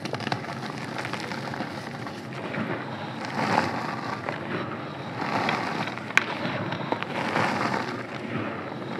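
Both bare hands dig into a large loose pile of blue-dyed calcium carbonate gym chalk powder with crumbly clumps, squeezing and crumbling handfuls. A steady, dense crunchy crackle fills the clip, swelling in soft waves as the hands work through the powder. Occasional sharp little snaps and pops stand out from the gritty texture.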